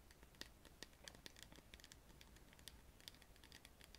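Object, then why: Small plastic bottle of liquid. Long painted nails tap and scratch a small clear plastic The Body Shop bottle with a black screw cap and a pink round label, filled with clear liquid and held in both hands. Quiet, bright, crisp clicks and scratchy ticks patter quickly, each dying away almost instantly over a faint low rumble.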